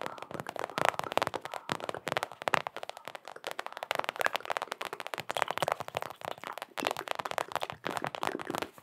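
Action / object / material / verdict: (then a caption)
tap / mini rubber basketball / rubber / none. A small, hollow orange and blue Knicks mini basketball with a rubber or foam surface is tapped and scratched rapidly with long acrylic nails. The result is a dense stream of sharp, dry clicks and scratches centered in the midrange around 875 Hz, with almost no low end and no ring.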